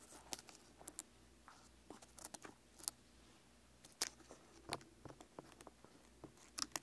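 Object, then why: Whole pineapple rind. Fingertips and nails scratch and tap the rough, scaly rind on the side of a whole, solid pineapple with a leafy crown and a decorative face (glasses and a nose), standing on a wooden table. Heard up close, there are about twelve separate quiet, dry, bright crackling ticks and scrapes, each dying away almost instantly. Faint rustling fills the gaps, with almost no low end.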